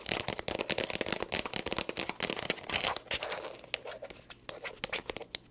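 Long acrylic nails rapidly tap and scratch a small, hollow black leather glasses case with a snap flap. The result is a dense stream of bright, sharp clicks and crinkly scratching with almost no low end. The sound thins out into sparser taps toward the end.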